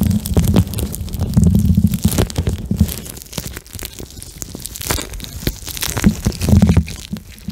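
Fingertips and nails squeeze and rub a soft, flexible pink plastic eye mask filled with small gel beads, held close to the microphone. The result is a dense, low, squishy rumble threaded with quick crackling clicks and brief bright scratchy bursts, swelling louder near the start and again near the end.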